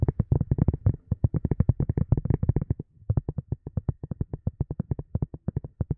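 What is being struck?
Silicone cup lid.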